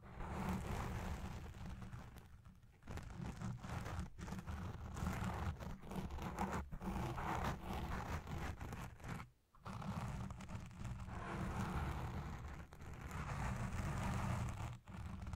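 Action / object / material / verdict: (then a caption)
scrape / foam microphone windscreen / foam / none. Long red nails of both hands scratch around the lower part of a black foam windscreen dome on a Blue Yeti Pro microphone. The result is a dense, continuous rough scratching and rustling with a heavy low-end rumble, with brief dips near 3 and 9.5 seconds.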